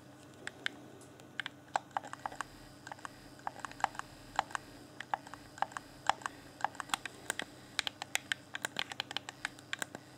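A fingertip rapidly taps and clicks the D-pad and shell of a hand-sized, hollow, clear plastic Xbox One Afterglow game controller. About 46 sharp, dry plastic clicks land in an irregular, quick rhythm. Each click is brief and bright with a hollow tone around 800 Hz, over a faint, steady low hum.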